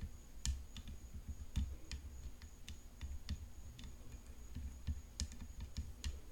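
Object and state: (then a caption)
Composite tennis racket frame tapped with nails. Long nails tap along the hollow composite frame and throat of a rhinestone-decorated tennis racket resting on black cloth. About fifteen quick, dry clicks come at an uneven pace, each with a soft low knock and a bright crisp tick that dies away almost at once. A faint, steady high tone runs underneath throughout.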